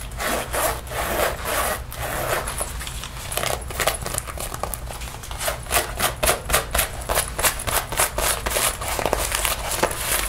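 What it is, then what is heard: Faux leather jacket. Fingertips and nails scratch and rub the chest and shoulder panels of a worn black faux leather (synthetic) jacket, its soft flexible surface over the body, while a lint roller is held but not used. Irregular bright, hissy scratching strokes sound at first as longer rubbing sweeps, then as quicker, sharper bursts in the second half, over a low steady background hum.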